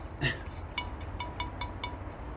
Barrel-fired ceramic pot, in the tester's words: still hear it rings a bit